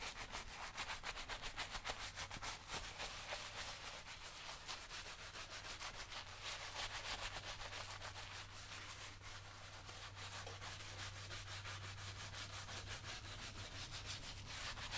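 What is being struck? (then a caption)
Leather work boot scrubbed with a bristle brush. A brown leather lace-up work boot, worn on the foot and resting on a shoe-shine stand, is scrubbed with a wooden-handled bristle brush until it is coated in white lather. Rapid back-and-forth brushing strokes produce a continuous, bright, hissing scrub for the whole clip, over a steady low hum.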